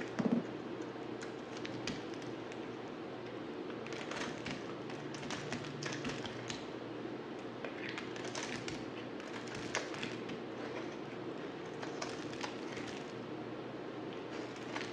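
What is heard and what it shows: A dry, solid black bar of soap is held in the hand and shaved with a yellow utility knife blade, giving a steady run of soft, crisp scraping and ticking crackles with brighter bursts. A faint low hum sits under the quiet shaving throughout.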